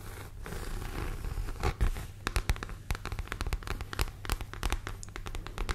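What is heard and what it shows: Long nails scratch across the textured front panel of a medium, structured, hollow red pebbled grained leather (or faux leather) handbag held close to the mic. Rapid, dry scratching strokes and short raspy bursts crackle over a soft, low rumble, growing busier and sharper after the first couple of seconds.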